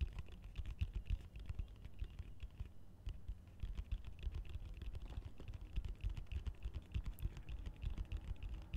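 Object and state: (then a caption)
Plastic colander. Fingertips and nails tap and scratch the sides and base of a large, hollow, empty green plastic colander held upside down with slotted sides. The result is a steady, rapid patter of soft, dull taps that stop almost instantly, like fast typing, with a faint thin scratchy edge over a deep, hollow thump.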